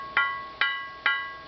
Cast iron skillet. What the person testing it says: the sound gets a little bit deeper it's kind of like these wind chimes you know the bigger the deeper the sound but that one obviously has no cracks